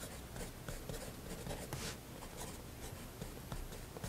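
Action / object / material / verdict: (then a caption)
scrape / fineliner pen on a paper sketchbook page / paper / none. A thin fineliner pen tip scratches short hatching lines across a flat white spiral sketchbook page resting on a wooden desk. The result is a quiet, steady run of dry, papery scratches, with brief brighter strokes standing out now and then.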